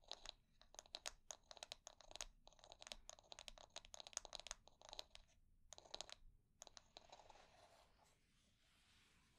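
A wooden hair brush is held bristles up while long nails scratch and strum across its wooden bristles. Rapid, bright, crunchy clicks come in dense bursts separated by brief pauses, each one dry and short. The sound thins out toward the end into a soft, faint hiss.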